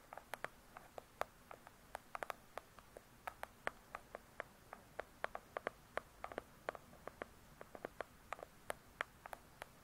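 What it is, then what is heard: Hardcover book, nail tapping. Long pointed acrylic nails tap and scratch on the glossy paper-covered cardboard cover of a large hardcover book lying flat and solid. About forty-four quiet, sharp clicks land in an irregular pattern. Each is a bright, dry tick centered in the midrange that dies almost instantly, with soft hiss between them.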